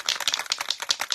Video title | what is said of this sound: Clever Budget Hacks! Saving Money without Sacrificing Style - Artist in Residence: Jamie Orsburn. | you're supposed to shake it until you can hear the bowl and then you shake a little bit more